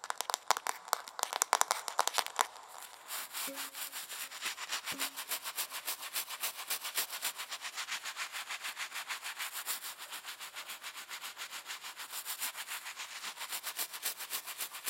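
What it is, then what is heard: Wooden hairbrush. Long nails tap and scratch along the wooden back of a solid wooden hairbrush held up close to the microphone. A few sharp, bright taps in the first couple of seconds give way to a steady run of quick, rhythmic scratching strokes with a crisp, airy, high-pitched texture.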